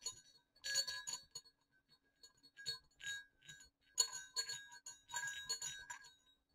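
Two small hollow silver metal jingle bells on a cord over dark fabric are shaken and knocked together. They make bright, quiet clinks and tinkling jingles in short bursts with brief pauses, and each ring dies away quickly.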